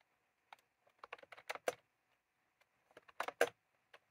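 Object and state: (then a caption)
Plastic round-key keyboard being typed on. Fingertips type on a white-and-cream plastic retro keyboard with round keycaps, with a small clip microphone resting on the keys. Short, dry plastic clacks come in two irregular bursts separated by a brief pause, each click sharp and quickly damped with a mid-range tone.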